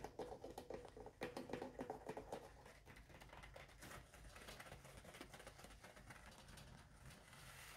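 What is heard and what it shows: Long orange acrylic nails scratch and tap inside the hollow cardboard core and across the soft surface of a full roll of embossed white paper towel sitting on a kitchen holder. Quick, uneven taps with a hollow, resonant tone come first, then fade into quieter, steady scratchy rubbing as fingertips and nails rub and tap on top of the roll.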